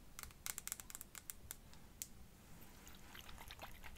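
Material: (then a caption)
Glass. Long fingernails tap and scratch a small glass perfume bottle, partly filled with pink liquid and topped with a faceted clear cap. A quick run of sharp, bright clicking taps fills the first two seconds, then gives way to softer, dry scratching. A faint low rumble sits underneath throughout.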